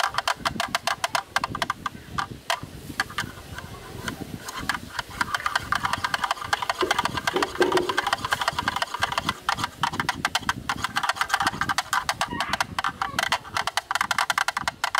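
A bamboo stick taps and rubs along the inner opening edge of a black rectangular hollow plastic camera lens hood held close. Rapid, dense dry clicks and hollow plastic knocks mix with scratchy scraping and short bright ticks, with a midrange body and little low end. The tapping runs steadily for about fifteen seconds at a close, moderate level.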